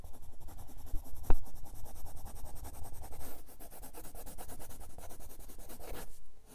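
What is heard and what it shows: A red colored pencil rubs and scratches quick short strokes across the page of a spiral-bound grey paper sketchbook lying flat on a desk. The result is a steady, rhythmic papery scratching with a louder tap near the start that runs continuously, then stops just before the end.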